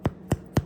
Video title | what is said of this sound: Make One, Share One - Homemade Bread for Family & Friends 🥖 | You thump to make sure that it's done. When you hear that hollow sound, you know that it's cooked all the way through.